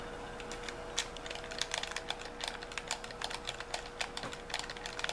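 A white handheld plastic gamepad with a hollow shell is held in both hands while thumbs and fingers rapidly press and tap its buttons and sticks. A quick series of sharp, bright plastic clicks and taps sounds over a faint steady hum, each one dying away almost at once.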